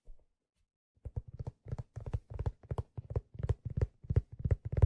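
Fingertips tap the crown and stitched brim of a hollow, empty black leather fedora as it is held and turned in the hand. After a brief faint tap and a pause, a quick, uneven run of soft, dull, low thumps begins, each dying out almost instantly. The taps grow slightly louder toward the end.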